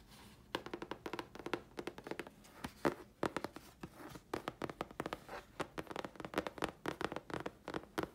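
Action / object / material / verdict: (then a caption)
tap / thin chipboard sheet / chipboard / none. Long fingernails tap rapidly on a thin, flat grey chipboard sheet held in the hands. The result is a quick, uneven run of dry, papery clicks, each dying away almost at once. The clicks sit mostly in the midrange around 340 Hz over a faint background hiss.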